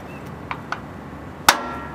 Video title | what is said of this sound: INSTALL REAR AXLE, BEARINGS and SEALS (F100 part 91) | that sounds solid yeah it does